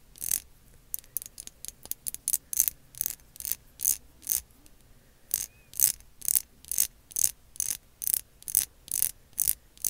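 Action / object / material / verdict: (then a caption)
tap / small ridged plastic lip gloss tube tapped and scratched with fingernails / plastic / none. Long acrylic nails scratch the ridges of a small, slim, translucent lilac ridged plastic lip gloss tube with a pink cap, and tap on it. The result is 26 short, crisp, bright clicks and scrapes with almost no low end, uneven at first and then settling into a steadier rhythm of about two per second.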